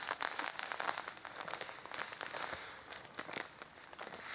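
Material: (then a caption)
Plastic. A full white and blue plastic bag of sugar is held in the hands while the fingertips squeeze and rub it. The result is a steady, bright crinkling with a granular crunch and quick crackling bursts, with almost no low end.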